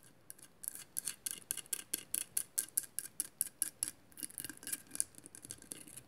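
Long matte nails scratch and tap a hollow glass mosaic vase, making quiet, bright, dry scratching strokes in a steady rhythm. The short bursts carry little low end and stop almost immediately, with a brief pause near the middle before a quicker, softer run of scratches.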